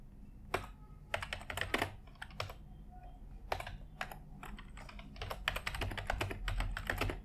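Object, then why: Plastic computer keyboard. A white full-size plastic computer keyboard is typed on with the fingertips of both hands, producing dense, irregular bursts of short, bright clicking key taps that die away almost instantly. The taps come in quick clusters with brief pauses between them, over a steady low background hum.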